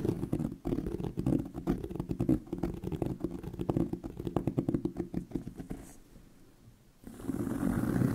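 Fingernails scratch the textured surface of a medium-sized tan pebbled leather handbag near a stitched seam, its hollow body giving the sound a low, muffled fullness. Rapid, dense scratches run for about six seconds, fade to near quiet for a moment, then return as a steadier, louder rubbing.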